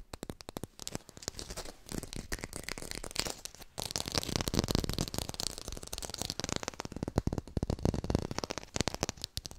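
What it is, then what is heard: Fake textured lime. A textured artificial plastic lime is fast-tapped and recorded with a hi-fi microphone. Rapid, dense taps and scratchy brushing form a continuous crackling patter with a low thump in each hit and a bright, papery top. The short, dry strikes run almost without pause.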